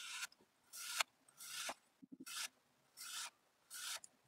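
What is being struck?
Kinetic sand block.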